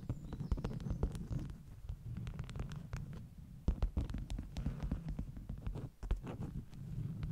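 Long nails tap and scratch the top sheets of a stack of flat beeswax-coated cotton wraps. The result is a quiet, low, muffled rumble broken by many quick, short taps with faint bright clicking edges, and brief soft scratching in between.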